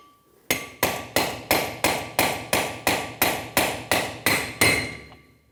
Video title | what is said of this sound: How to Replace Front Wheel Bearings & Seals 1999-2025 Ford E-350 SuperDuty | Once you hear that audible difference, that means it's completely bottomed out.